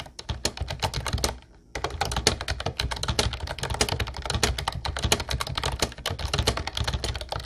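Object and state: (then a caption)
Plastic typewriter-style keyboard, typing. Fast fingertip typing on a mint-blue plastic Ubotie retro typewriter-style keyboard with round white keycaps produces a dense, steady stream of sharp key clicks. Each click has a bright top and a low thump, with no ring after it. The typing stops briefly about a second and a half in, then continues rapidly to the end.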